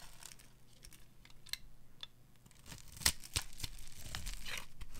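A metal utility knife blade carves ridges into and shaves a solid, translucent brown rectangular bar of dry soap held in the hand. Dry, crisp scraping and cutting strokes crackle and tear at an uneven pace over a low, steady hum. A few sharper, brighter snaps stand out as the blade cuts through.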